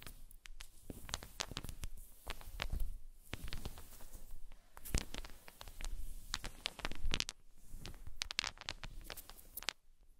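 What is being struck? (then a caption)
Small wooden balls. Small solid wooden balls roll across a fluffy blanket, pushed along by long-nailed fingers, and knock into each other. Soft, low rolling rumbles are broken by many short, sharp clicks with bright, dry ticks that die away almost at once.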